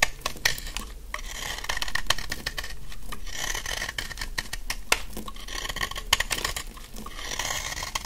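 A utility knife blade cuts a solid, dry yellow soap bar held in the hand into crunchy flakes. Rapid crisp scrapes and crackly crunches repeat close together with bright, rasping highs, over a steady low rumble.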